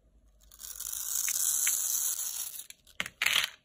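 A metal utility knife scores a grid into a solid, palm-sized bar of dry red Lux soap held in the hand, then shaves off small cubes. A long, bright, hissing scrape builds and drags across the surface, followed by short, crisp crunching bursts as the cubes break away.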